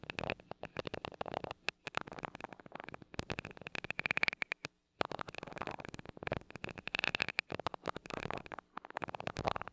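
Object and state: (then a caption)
Metal microphone grille tapped with a glass rod. A glass rod taps rapidly on the side of a mini microphone's small gold metal mesh grille. The result is a dense run of sharp, crackly clicks with a bright metallic tone near 2.3 kHz that dies away almost instantly. The tapping pauses briefly near the middle before continuing.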